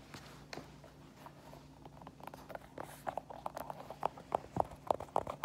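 An empty white Adidas sneaker with a knit mesh fabric upper and a foam rubber sole is held in the hands and tapped and scratched with long painted nails. Soft, irregular scratching and light tapping grow into sharper, crisper clicking taps toward the end, all quiet and with almost no ring.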